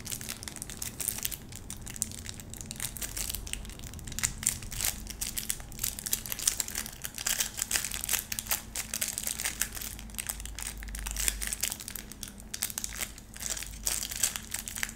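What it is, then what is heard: Plastic-wrapped bar of soap. Long nails scratch the edge and face of a small, solid, round bar of soap in pleated white plastic wrap. Continuous bright crinkling and scratching fills the clip, with dense rapid clicks over a faint low hum.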